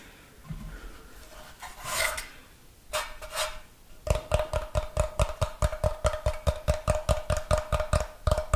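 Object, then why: Unfinished wooden block. Fingernails scratch and then tap the face of a solid, brick-sized rectangular block of light unfinished wood held in one hand. A few seconds of soft rasping scratches swell and fade, then give way to a quick, fairly steady run of dry, clicky taps with a low knock and a faint hollow tone.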